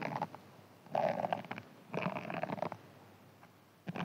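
A hand-sized green foam sponge, held in one hand, is scratched with fingernails and possibly a thin pin. Four short bursts of dry, crackling scratching come about a second apart, with quiet gaps between them. Each burst carries a faint squeaky tone near 700 Hz.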